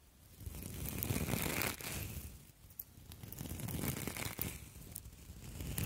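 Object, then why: Copper wire mesh scouring pads. Two palm-sized, hollow, springy copper wire mesh scouring pads, one held in each hand, are squeezed and crinkled close to the microphone with fingertips and long acrylic nails. The sound is a dense, scratchy crinkling and crunching with a low rumble underneath and bright metallic crackles on top, swelling and easing in waves.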